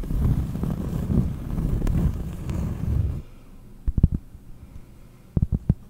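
A round, flat, solid cork disc held in one hand is scratched with long nails, giving a dense, low, rumbling scrape for the first three seconds. After a pause, the nails tap the cork in two short clusters of dull, deep knocks that die away almost instantly.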